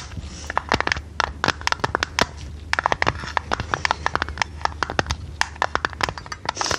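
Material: Tinplate.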